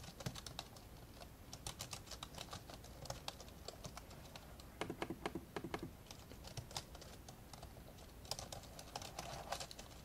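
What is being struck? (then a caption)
Plastic laptop keyboard. Fingertips from both hands tap and type on the plastic keys of an old 1990s dark grey plastic laptop, its lid open and lying flat on a blue cloth. Rapid, dry, clicky keystrokes with very short decay sit over a faint steady low hum, with denser, louder bursts of typing in the middle and near the end.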